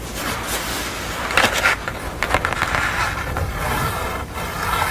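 Long acrylic nails scratch and tap the painted surface and edges of a flat portrait painting on a thin, solid grey art board lying on a towel. A steady, crisp scratching hiss runs throughout, broken by sharper, brighter taps and scrapes that briefly rise above it.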